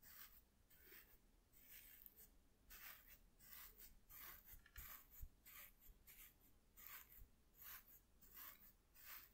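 A soft makeup brush held in one hand is swept across a flat white corrugated cardboard piece. It makes quiet, bright, papery swishing strokes that repeat at an uneven pace over a low, steady rumble.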